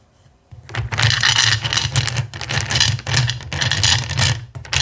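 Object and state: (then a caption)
Clear acrylic gems being stirred. Fingertips with short painted nails stir and rake a pile of small clear faceted acrylic plastic gems filling a black bowl. After a brief quiet start, a dense, continuous stream of bright, crisp clicks rises as the gems rattle against each other, with a steady low hum underneath. The clicking surges and eases in waves until the end.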